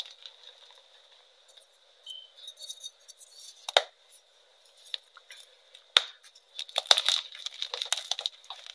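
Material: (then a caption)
Chalk. Pink-dyed, reformed gym chalk pieces are picked up from a pile of powder on a metal tray and crushed and crumbled by hand with fingers and nails. Dry, bright crunches and crackles arrive in irregular bursts, with sharp snaps near the middle and a denser crumbling run toward the end. A faint steady high tone sits underneath throughout.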